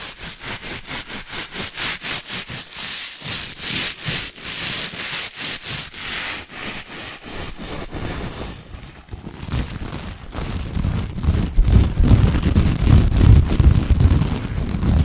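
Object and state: Plastic mesh scrub sponge.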